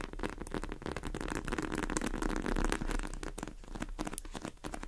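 A pink polyurethane foam squishy cake in a tray is tapped and scratched quickly with the long acrylic nails of both hands. The result is a dense, continuous patter of soft, dull clicks and scratchy rustles that rises a little toward the middle of the clip.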